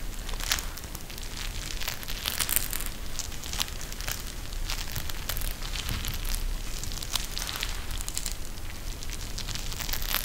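A pink eye mask with a clear plastic shell filled with gel beads and fabric trim is held in both hands and squeezed by the fingers. It gives a steady run of bright, dense crackling and crinkling bursts over a low, rumbling background.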